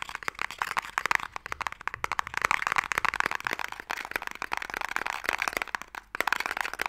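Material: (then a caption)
Wood. A narrow, hollow wooden Mikado box is tapped and scratched with fingernails while held in various orientations. The result is a dense run of quick, dry, crackly clicks and scrapes, bright in the upper-mid range, with no low end or ring.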